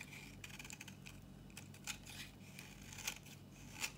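A metal utility blade shaves curls from an old, solid, dry pink bar of soap held in the hand, making quiet, crisp, bright scraping cuts with a few sharper snaps standing out over a steady low hum.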